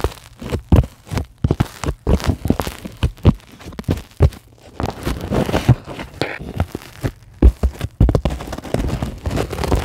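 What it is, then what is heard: Polyethylene foam sheet scratched and tapped. Long glittery acrylic nails scratch and tap across a flat, solid white sheet of closed-cell polyethylene foam. The result is a dense run of dry, crackling scrapes broken by short, muffled taps, with soft low thumps under the quick, close bursts.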